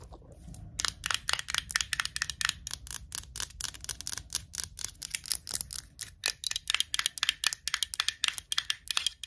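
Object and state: Metal screw lid on a glass jar.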